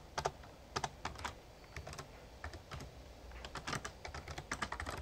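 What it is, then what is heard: Plastic membrane keyboard being typed on. Fingertips type on the keys of a full-size, backlit plastic Razer Ornata Chroma mechamembrane gaming keyboard. Quick, irregular bursts of short, dry clacks with bright edges sit over a low, soft thump from each keypress. The clicks are closely spaced and do not ring.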